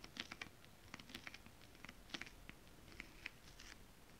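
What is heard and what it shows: Long acrylic nails on both hands tap across flat holographic mermaid scale-print fabric. A quiet, uneven run of light, bright, dry clicks sounds, each one dying almost instantly, over a faint soft rustle.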